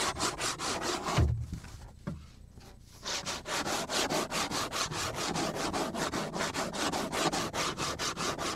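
Fingernails scratch and rub back and forth across the scratched surface of a flat, solid black plastic cutting board held at an angle. Rapid, steady strokes of bright, raspy friction repeat at about two per second. They pause briefly after a couple of low soft knocks near the start, then resume.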